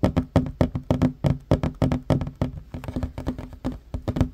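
Fingertips and short nails of both hands tap rapidly on a solid wooden tabletop. The quick, uneven burst of short, dry knocks has a low woody body around 250 Hz and a faint bright click on each strike. Every tap dies away almost instantly.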